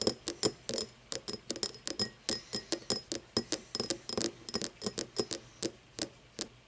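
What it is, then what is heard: Cut crystal glass tumbler. An empty cut-crystal glass tumbler lies on its side while fingernails tap and scratch along its sides and its star-cut base. About 28 quick, bright clinks come in an irregular rhythm, each with a very short ring and a faint tone near 430 Hz, and soft scratching fills the gaps between them.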